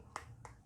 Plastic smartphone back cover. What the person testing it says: cover hati ini terbuat dari plastik dengan sebagian besar finishingnya ini doff dan kalau kita ketok tadi Ya lumayan Solid ini ya